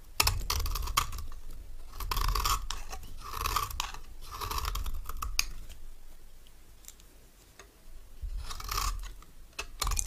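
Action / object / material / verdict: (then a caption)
scrape / bar soap shaved by a metal knife / soap / none. A palm-sized, solid orange bar of dry soap is held in one hand and repeatedly shaved with a metal knife held in the other, peeling off thin curls. Rhythmic, crisp scraping strokes carry a bright, hissy edge over a low rumble, with sharp clicks between strokes. The scraping eases into a quieter stretch midway and then picks up again toward the end.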